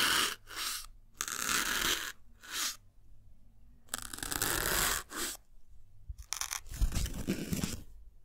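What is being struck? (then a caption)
Melamine foam block pierced with a metal needle. A small, solid white melamine foam sponge block is stabbed over and over with a thin metal needle. Each stab makes a bright, crunchy tearing noise, with short bursts separated by brief silences. One longer ragged crackle in the middle sounds like the foam being torn through.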